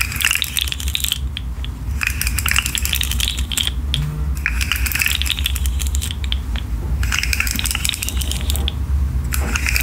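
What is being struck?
Articulated plastic fidget slug toy.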